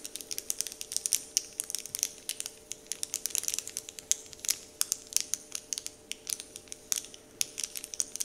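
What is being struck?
Foil or paper wrapper sheet scratched by fingernails.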